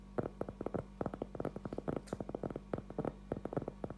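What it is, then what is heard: Cork trivet board. A round, flat cork trivet board about 20 cm across, thin and solid, is held upright in both hands and tapped and scratched with fingertips and short nails. About 25 soft, dull taps come in quick, uneven bursts, each dying away almost at once with no ringing. A faint, steady low hum sits underneath throughout.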